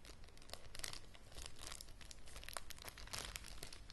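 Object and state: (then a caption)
Thin plastic bag crinkled. Fingers and nails crinkle a clear, thin plastic zip bag with a small object inside, held up close. Heard is a continuous, dense crackling and rustling, with bright crisp snaps standing out over a low background rumble.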